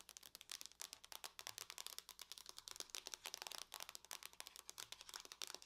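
Long nails on both hands tap fast across the lid of a closed silver aluminum laptop. About 35 quick, quiet, bright clicks come in a steady stream. Each dies almost instantly and has little low end.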